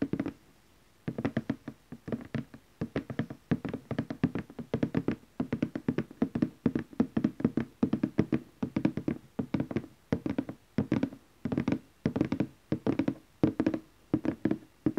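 Fingertips and short nails tap quickly on the lid of a large glossy laminated orange cardboard gift box lying flat on fabric, using both hands. The hollow, muffled taps come in dense bursts with brief pauses between them, with a low body centered near 215 Hz and very short decay.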